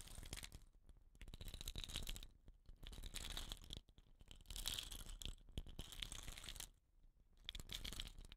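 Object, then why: Painted wooden rain stick. Fingers rub and scratch the rattan ends and painted body of a hollow, dot-painted wooden rain stick held horizontally in both hands. The result is soft, dense scratching and crinkly rustling with a bright, hissy edge, coming in bursts separated by brief quieter pauses.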